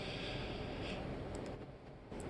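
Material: Nothing is struck.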